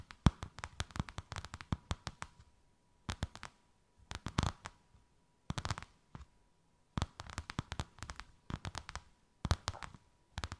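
A thin white faux-leather sheet with a snakeskin emboss, draped over something rounded, is tapped and scratched by long white acrylic nails. Quick, dry clicks come in dense bursts separated by short pauses, with a faint steady tone underneath.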